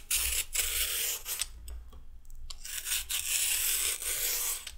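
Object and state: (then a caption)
Raw carrot being peeled. A metal peeler scrapes down a thinning raw carrot in repeated peeling strokes. Each stroke gives a bright, dry rasping scrape, with brief quiet gaps between the passes and a low steady rumble underneath.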